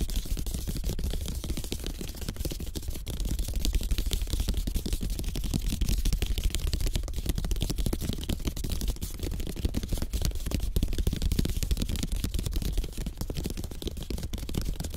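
A placemat of thin bamboo slats bound with string, lying flat on a table, is tapped and scratched fast with the fingertips and short nails of both hands. The result is a dense, steady stream of short, dry clicks and scratches over a deep, heavy low-end rumble, with a bright, crackly edge, holding a fairly even level throughout.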